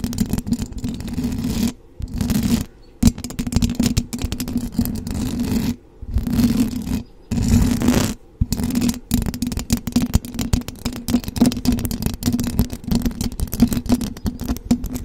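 Long blue acrylic nails on both hands scratch the hollow metal mesh grille of a silver condenser microphone. The result is dense, low, rasping scratches with a steady hum-like band near 250 Hz, broken by a few short silent pauses.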